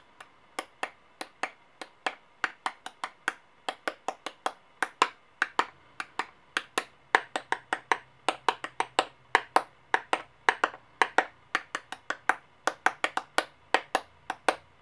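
A silver coin and a gold-toned coin, each held in painted-nail fingers above gold coins on a white clipboard, are clinked and tapped together. About 56 sharp, bright metallic clicks come at an uneven pace, each with a brief ring centered near 930 Hz that dies away almost instantly. A faint low hum sits underneath from about the middle of the clip onward.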